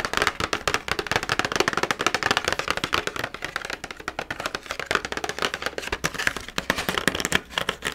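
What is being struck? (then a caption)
Plastic blister pack on a cardboard backing card. Long nails rapidly tap and scratch a pumpkin carving kit: a hollow clear plastic blister holding red plastic carving tools, mounted on an orange cardboard backing card. The sound is a dense, continuous run of bright, dry, clicky taps with almost no ring, interwoven with rough scratching across the plastic and card.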